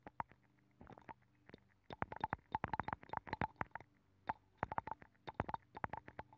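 A black makeup brush rubs the inner nacre surface of a hollow abalone shell mounted on a microphone. Quick, soft brushy swishes and scratches come in irregular clusters separated by short pauses, each stroke dry and short with no ring. A faint low hum sits underneath the close, intimate rustling throughout.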